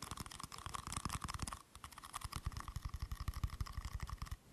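A small, round, hollow silver aluminium screw-top tin is held in both hands while fingers and nails tap and scratch its lid and rim. Quick, dry, low thumps come in a rapid, uneven series, mixed with brief bright scratchy rasps. There is a short pause near the middle before the tapping resumes.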